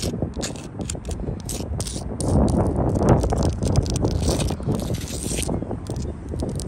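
Long blue-tipped acrylic nails scratch and tap across the faces and grey mortar joints of a solid, rough sandstone block wall outdoors. The result is a dense, continuous gritty scraping with quick, irregular taps and clicks, weighted toward low, muffled tones with occasional bright ticks.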